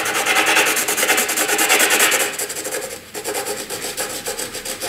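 A black graphite pencil held in the hand makes broad, sweeping shading strokes across a flat white sheet of drawing paper. The result is a rhythmic, bright, scratchy rasp repeating about three times a second. It is loudest for the first two seconds, then continues softer and lighter.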